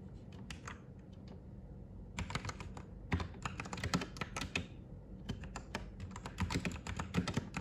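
A white Royal Kludge RK98 mechanical keyboard with plastic keycaps, resting on a desk, is typed on with the fingertips of both hands. A few scattered keystrokes give way after a brief pause to quick bursts of sharp, clacky taps with bright edges and a low, hollow thock underneath. A steady low background hum runs throughout.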